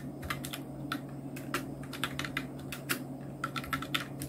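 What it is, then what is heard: Plastic mechanical keyboard. Continuous two-handed fingertip typing on a full-size black Nubwo Illution NK-70 mechanical keyboard with Outemu red switches, round plastic keycaps and blue backlight. Quick, bright, dry clacks with short decay ride over a steady low hum.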